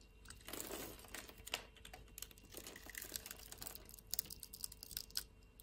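A metal utility knife blade slices cubes off a solid green bar of soap held in the hand. It makes a quiet run of short, crisp, bright scraping and snapping cuts with a few louder crackles, and each cut ends almost instantly with no ring.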